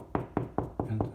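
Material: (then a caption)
Drywall. Five knocks on drywall between the studs, away from the stud, sound hollow over the empty wall cavity. Each knock is a short, low thump of around 113 Hz that dies away quickly.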